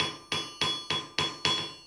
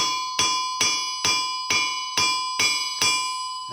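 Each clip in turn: First: Six even hammer blows on an anvil, bright high ring at about 3.4 kHz, cut fairly short by a wrapped chain. Second: Seven evenly spaced hammer strikes on an anvil, each ringing high and bell-like for seconds.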